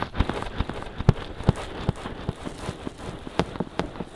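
Fingertips quickly scratch and tap the soft silicone ears of a binaural microphone. The result is a rapid, somewhat uneven run of dull, low thumps that die away instantly, with a faint rustling scratch between them.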